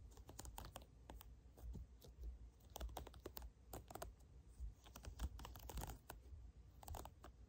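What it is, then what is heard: Silicone pop-it fidget toy. Fingertips and short nails press, tap and pop the hollow domed bubbles of a small, round, hand-sized pastel tie-dye silicone pop-it fidget toy up close, and then the toy is held up. The result is a quiet, irregular stream of soft, quick clicks and pops with almost no ring, over a steady low hum.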